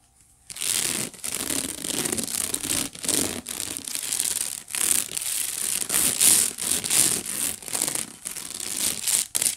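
Fingertips and long nails scratch and rub the woven bottom of a hollow, empty white wicker basket. The result is a steady run of dry, bright, raspy scratching in bursts separated by brief pauses, concentrated in the high range with almost no low end.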